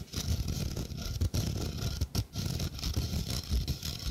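Fingernails scratch the mesh of a small, hollow stainless steel sink strainer held close to the microphone. The result is a dense, continuous rasping texture with a heavy low rumble and a faint bright hiss. It pauses briefly twice before resuming.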